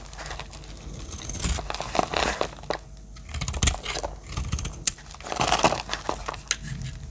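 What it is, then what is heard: Dry soap bar being cut. A metal utility-knife blade cuts and chips a dry, palm-sized, green and white striped solid bar of soap. Dry crumbly crunches and crinkling scrapes come in uneven bursts, with bright crackles and a few sharp clicks as flakes break away.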